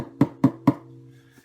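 Three knuckle knocks land on the thin, arched back of an Aklot double-neck bass/tenor ukulele. Each gives a short, dull wooden thud centered around 290 Hz. The back sounds quite resonant, with low tones humming on between and after the knocks, and its thinness should help resonance.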